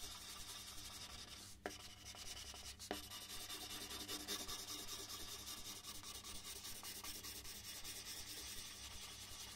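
A red colored pencil shades a large white sheet of paper, slightly angled on a wooden desk, with continuous rubbing strokes. A steady, bright scratchy rasp runs throughout, with two sharper ticks early on.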